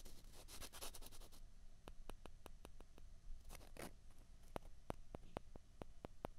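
Two small hollow white plastic ping pong balls are rubbed and scraped against each other between the fingers. Dense, bright, rustling scrapes alternate with a run of sharp, dry clicks. Another short scraping burst comes before the clicking resumes.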